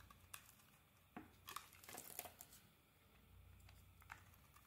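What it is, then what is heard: Bar of soap being carved. A metal blade carves into a solid red and cream bar of soap held in the hand, scraping off flakes. Quiet, crisp scrapes and dry crackling snaps come in short bursts over a low background hiss, bright and brief with almost no ring.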